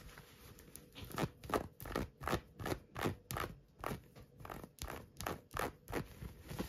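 Long nails scratch and rub an orange knit cotton work glove with a soft black rubber-dot grip. The result is a fast run of rough, papery scratching strokes, about three per second, each a short broadband rasp with a brief crackly bite and no ring.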